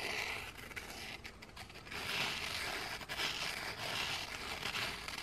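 Two flat, solid, scalloped gingerbread cookies are held up close while the textured back of one is scraped and rubbed against the other with fingers and nails. The result is a continuous, bright, dry scratching with a gritty, crinkly texture and small surges in loudness, and almost no low end.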